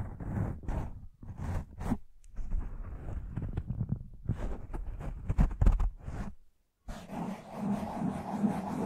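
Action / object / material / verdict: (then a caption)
scrape / foam microphone windscreen / foam / none. Both hands cup a black foam windscreen on a large microphone, soft and porous over a hollow mic head, and scratch and rub it with fingertips and short nails, moving from slow to fast. Heavy, low, muffled scratching comes in uneven bursts that grow quicker and denser, break off into a short silence, then return as a steady, continuous rubbing hiss.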